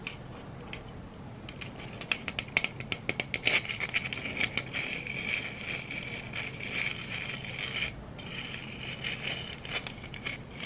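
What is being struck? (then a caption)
Glitter-coated plastic egg scratched with nails. A hand-sized yellow glitter-coated egg, likely hollow plastic, is held in one hand and scratched and rubbed with long red acrylic nails. The result is a dense run of quick, crisp scratching clicks, followed by a steadier bright rubbing hiss that rings near 2.5 kHz, with a brief pause around eight seconds before it resumes.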